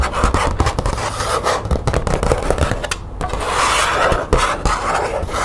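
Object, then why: Thin plastic folder with grommets. Long nails rapidly scratch and tap a thin green plastic folder with grommets, making a steady rasping scrape mixed with quick, dry clicks. The texture stays busy throughout, centered in the mids with some bright hiss, and each tap dies away almost at once.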